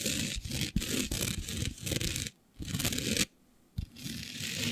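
Long beige nails of both hands scratch across a flat black sheet coated in fine green glitter, lying flat. The result is a dense, gritty scratching with bright hiss and low rumble, broken by two short near-silent pauses before resuming.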